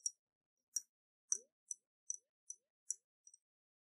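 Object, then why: Glass jar with water, tapped with fingernails. Long nails tap a round, hollow glass jar with a metal lid and water inside as it is tilted in the hands. Eight short, bright clicks sound, separated by silence and dying away almost instantly. A faint rising low tone follows the third tap.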